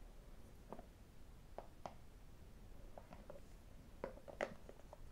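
A small, hollow white cardboard iPhone box is held and tapped and scratched with fingertips and metal rings. Quiet, short hollow taps and faint scratches sound over a low background rumble, with the sharpest clicks near the end.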